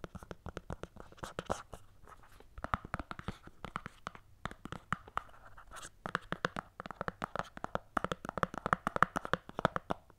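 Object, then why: Small closed cardboard box. Long painted nails scratch and tap the sides of a small, closed, hollow white cardboard Apple earphone box, held in both hands with the lid on. Quick, dry, papery taps and scratches come in a dense, uneven stream, centered in the midrange around 1 kHz. Each one stops almost at once, with no ring.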